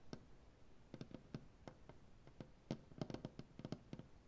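Both hands tap with their fingernails on a solid, light maple butcher block tabletop and scratch along its grain. Quick, dry clicks with a low woody knock come irregularly and cluster more densely toward the end, over a faint scratchy hiss. Each tap dies away almost at once.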